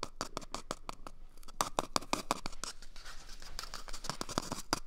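Fingernails scratch an empty, hollow cardboard toilet paper tube held at a microphone's ear, as the tube moves from the right ear to the left. A rapid run of short, dry scratching strokes comes through, each with a bright, papery edge around 1 kHz and no ring after it.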